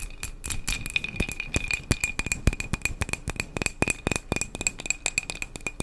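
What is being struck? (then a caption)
Glass candle jar filled with wax. Long acrylic nails rapidly tap and scratch a small glass jar candle solidly filled with tan wax. The result is a fast, irregular series of sharp, bright clicks and clinks, with a thin glassy ring near 2.5 kHz under the scraping.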